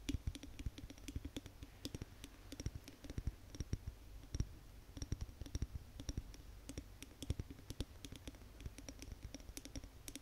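Long nails tap quickly on the glass body of a large Yankee Candle glass jar filled with wax, held in both hands. The result is a rapid, irregular stream of short, dry clicks with a dull low thump under each tap and a bright tick on top. Each tap dies away almost instantly.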